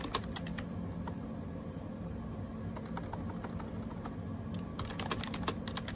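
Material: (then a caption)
Plastic. Fingertips type steadily on a gray plastic AJAZZ 308i wireless Bluetooth keyboard with round keycaps, resting on a desk. Quick, light plastic taps and bright clicks run in an uneven stream over a steady low hum, with a few sharper keystrokes standing out.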